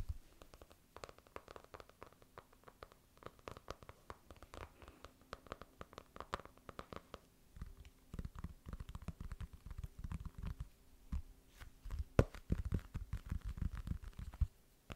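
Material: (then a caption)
Cardboard. A white, medium-size, closed and solid hardcover notebook is held in both hands while fingernails tap and scratch its textured cardboard cover. The clip is a quiet, continuous run of soft, dull taps and scratchy rustling, mostly low-pitched and muffled, with each tap dying away almost instantly. The tapping grows denser and slightly heavier in the second half.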